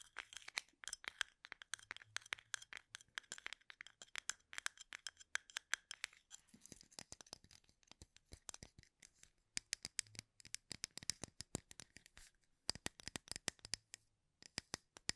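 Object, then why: Wooden toothpicks in a small cup. Fingertips rapidly tap and flick the exposed tips of wooden toothpicks standing in a small cup full of them. The result is a quick, irregular stream of dry, bright clicks and clacks that die away instantly, with a few brief pauses between bursts.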